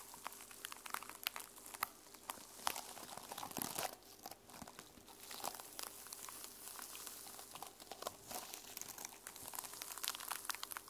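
Long nails scratch and tap the teal plastic sequins on the cover of a small notebook held up in the hands. A steady stream of quiet, bright, crinkly scratches and sharp little clicks rustles on, with short bursts that rise and fade throughout.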